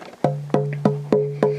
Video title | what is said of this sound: Online mandolin building course - sample lessons | the note that we're hearing is going to be lower because the feet are lowering the resonance